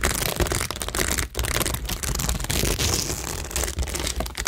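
Long nails scratch across rows of acrylic rhinestones and pearls set on a cork tingle board, making a dense, continuous crackling and clicking texture. Bright, crisp ticks ride over a low rumble, with brief dips where the nails lift between strokes.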